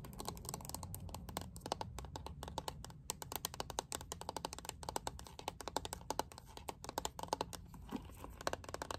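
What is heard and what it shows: A lilac plastic paddle hairbrush with a liquid-glitter back is held close and tapped with long painted nails. A rapid, continuous stream of short, crisp clicks with little ring runs over a soft low rumble, and bursts of taps come in quick flurries.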